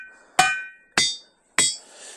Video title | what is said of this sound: Ringing Rocks | you start to hit these rocks that are suspended and they're all giving us a ring